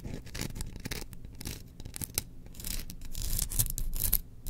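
Long nails scratch along the handle of an engraved bamboo slotted spoon held diagonally. The result is a quick, uneven run of dry scratching strokes, about four per second, with bright crackly clicks over a soft low rumble.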